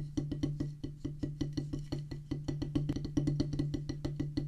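Two wooden drumsticks play fast on a solid oval drum practice pad with a black rubber top on a pressboard/wood base, giving 28 quick, dull, woody taps. A steady low tone around 145 Hz runs underneath, and each tap has a short thump.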